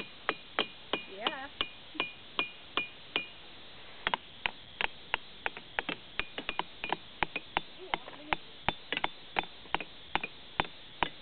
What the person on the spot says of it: made cool music and awesome sounds. All from rocks!